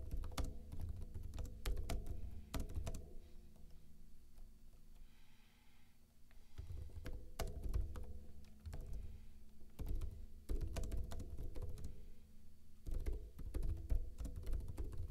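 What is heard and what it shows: Fingertips with short blue-painted nails type rapid taps on a backlit plastic laptop keyboard with hollow keycaps. Bursts of quick, dull, low clicky thuds run steadily, with a quieter lull in the middle before the typing picks up again.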